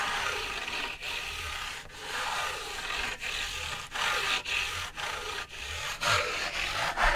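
A thin, flat sheet of stiff white card stock, held in one hand, is scratched with the fingernails of the other hand. Rough, bright scratching strokes follow one another with brief dips between them, giving a steady raspy hiss with little low end.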